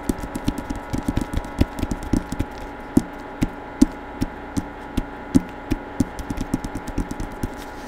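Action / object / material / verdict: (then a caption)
tap / hardcover book with paper dust jacket / cardboard and paper / none. Fingertips tap on the covers of a hardcover novel in a paper dust jacket, with a portrait on the front and text on the back, held close to the microphone. Around 28 short, dull taps land in an uneven run, each a quick low thump with a tone near 270 Hz that dies away almost at once. A faint steady hum sits underneath.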